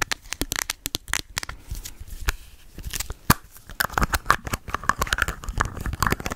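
A white plastic bottle held close to the mic is tapped and scratched with long acrylic nails. It makes a rapid, uneven run of sharp, dry clicks mixed with crinkly, crackling scratches. Some taps leave a faint hollow ring near 1.2 kHz that dies almost at once.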